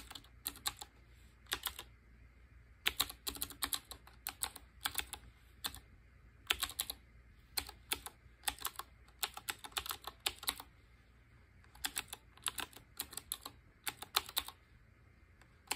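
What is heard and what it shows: Fingertips with short painted nails type on a black Qwerkywriter BIOHAZARD collaboration typewriter-style mechanical keyboard with round chrome-ringed keycaps. Bursts of rapid, bright, clicky keystrokes with very short decay come in clusters, separated by brief quiet pauses over a faint low hum.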